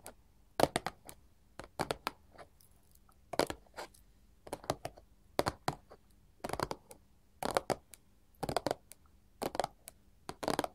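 A small, flat, printed paperboard chocolate box lying on a marble table is tapped with both hands wearing long gold filigree metal claw jewelry. Quick clusters of short, dry clicking taps come in bursts separated by brief pauses. The hollow box adds a light papery knock with almost no ring.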